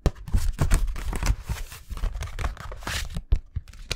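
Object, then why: Thin plastic envelope folder. A thin, flat, empty blue translucent plastic envelope folder with a snap button is held in both hands and tapped and bent with the fingertips near the microphone. This gives a fast run of crinkling, rustling taps and soft, thumpy low knocks. Bursts of bright crackle come and go between short quiet gaps.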